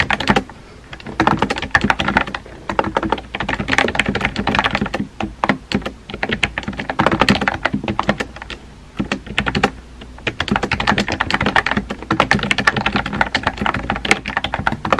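Fingertips type on a compact pink plastic keyboard with round white keycaps, producing rapid, dry clicks and clacks with almost no ring. The typing comes in bursts of varying speed, broken by brief pauses, including a longer lull near the middle.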